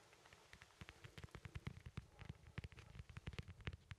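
A small, solid, whole fresh yellow lemon is held in the hand and scratched and tapped with fingertips on its textured peel. The result is a quiet, rapid series of soft, dull, low taps mixed with short crackly scratches and faint bright clicks, each dying away almost instantly.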